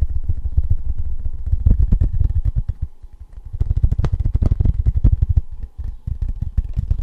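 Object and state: Tin novelty license plate.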